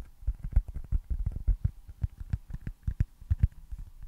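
A small, solid white foam baseball stress ball with red stitching is held close to the mic and tapped and scratched with fingertips and nails. The result is a quick, uneven series of soft, dull, low thumps with faint scratchy texture, each dying away almost instantly.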